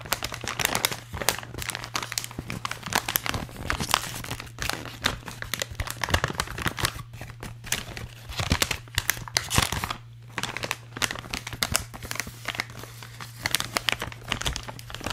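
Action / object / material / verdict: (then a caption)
scrape / metallized plastic foil bag / metallized plastic / none. An empty, hollow, light blue holographic metallized plastic foil bag is crinkled and scratched with fingertips. Dense, bright crackling and rustling bursts continue for the whole clip, rising and falling in loudness. A steady low hum sits underneath throughout.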